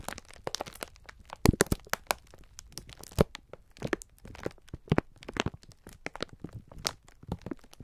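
A pack of sponge scourers sealed in clear plastic film is held in both hands while the fingertips squeeze and rub it. This produces a steady run of dense crinkling and sharp crackles at irregular intervals, with a few louder snaps standing out.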